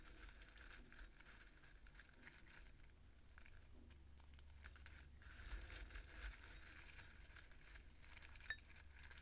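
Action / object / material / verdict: scrape / roasted pumpkin seeds in a bowl / seeds / none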